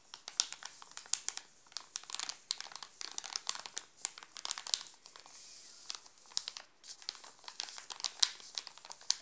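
Fingertips scratch and crinkle the glossy plastic wrapper of a full, sealed Alpino chocolate bar. Dense, bright crackles and sharp snaps come in quick irregular bursts with almost no low end, and a short, steady hissy rustle around the middle.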